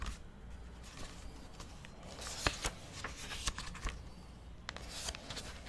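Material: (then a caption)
Paper. Fingers riffle and flip the white paper pages of an open book held beside the mic, producing soft, dry papery rustling broken by sharp, bright flicks as individual pages snap over. A steady low hum runs underneath throughout.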